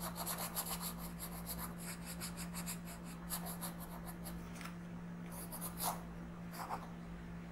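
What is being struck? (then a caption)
Colored pencil rubbed on a paper coloring page. A blue colored pencil tip is rubbed back and forth in small strokes while coloring a flat printed paper page of a coloring book. Soft, scratchy rubbing strokes come in quick bursts, busy at first and sparser toward the end, over a steady low hum.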